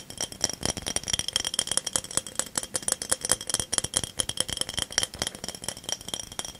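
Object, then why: Small ridged glass bottle. A small ridged cobalt-blue glass bottle is held close and tapped and scratched with fingertips and nails. It makes a dense run of quick, bright clicks and rattly scratches with almost no ring. The sound is thin and high with very little low end.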